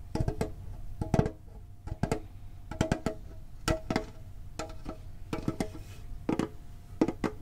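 Fingertips tap on the top and sides of a medium, printed, hollow metal Pokémon card tin. Quick clusters of short, dull taps come in irregular bursts, some fast and some spaced out. Each tap is low-heavy and dies almost at once, with a faint metallic ring lingering underneath.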